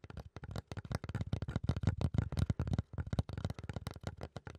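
A flat, solid brown fiberboard or thick cardboard panel is scratched with fingertips and nails. It gives a rapid run of dry, short scraping strokes that are mostly low and dull, with brief bright edges and almost no ring.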